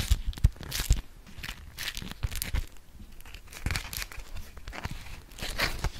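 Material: Waxed cotton.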